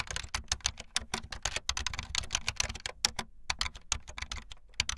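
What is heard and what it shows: Fast typing on a full-size backlit plastic Bluetooth membrane keyboard with white and blue plastic keycaps and a hollow plastic body, the keys pressed with fingertips and the tips of long painted nails. A rapid, uneven stream of short, bright plastic clicks and taps with slightly hollow thuds underneath, each stroke dying away almost at once.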